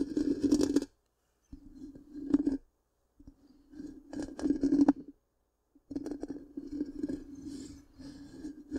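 Long pink-painted nails scratch the black, round, hollow metal mesh grille of a large microphone in bursts separated by short silences. The result is a dense, crackly scraping with a steady low hum around 280 Hz and bright, gritty detail on top.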